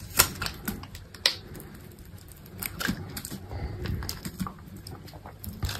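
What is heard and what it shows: A metal utility knife blade scrapes curled shavings off a solid, hand-held bar of dry white soap. Short, crisp scraping and cutting strokes come in an irregular rhythm, with two sharper, louder cuts near the start. Each stroke has a bright, crackly edge over a soft low rumble.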